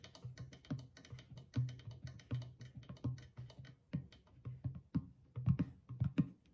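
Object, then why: Clay drum with rawhide skin head. Fingertips and long nails tap the stretched rawhide skin head of a single hollow clay drum while the other hand steadies it. The result is a quick, uneven run of soft, dry taps with a low, hollow boom around 133 Hz that dies almost at once. Some of the taps land noticeably harder than others.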